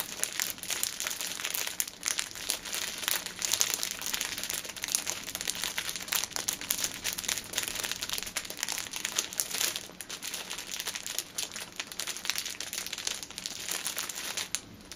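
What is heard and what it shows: A six-pack of pocket tissues in clear cellophane film is held upright while nails and fingertips squeeze and tap the wrap. Dense, bright crinkling and crackling runs steadily throughout, with quick sharp taps mixed in and almost no low end.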